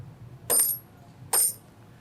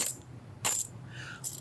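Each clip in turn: First: 90% silver half dollar coins. Second: clad half dollar coins, tinny sound.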